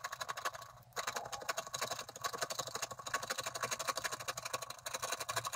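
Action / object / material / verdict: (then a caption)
scrape / coated scratch-art card scraped with a wooden stylus / coated paper / none. A wooden stylus scrapes the coating of a thin, flat scratch-art card with quick strokes. The result is a steady run of short, dry, bright scratches, about four per second, with a brief pause just before the one-second mark.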